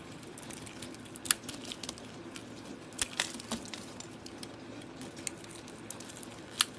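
A solid oval soap bar with a copper coating, held in the hand, is carved with a utility-knife blade, exposing its cream interior. Soft, crisp scraping and shaving continue under a steady low hiss, broken by sharp, bright clicks and snaps where the blade cuts through the coating.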